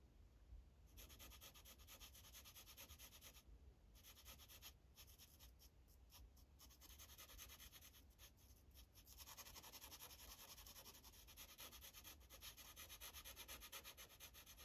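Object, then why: Felt-tip marker on a paper sheet over a hard clipboard. An orange felt-tip Sharpie marker rubs over a thin printed paper coloring page resting on a hard clipboard, coloring small areas. The result is a steady stream of soft, bright scratchy strokes with brief pauses, quiet throughout and a little louder toward the end.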